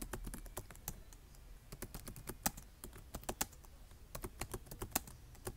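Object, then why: Plastic laptop keyboard. Fingertips with short nails type and tap on the keys of a black plastic laptop keyboard. It makes a quick, uneven run of short, crisp clicks with bright tops and a few louder taps, over a faint low rumble.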